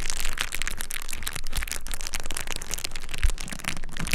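A clear plastic bubble wrap sheet is held flat by one hand at the edge while the other hand grips, crinkles and presses the bubbles. A dense, continuous crinkling and crackling runs throughout, with bright snaps and occasional low thumps near 1.6 and 3.3 seconds.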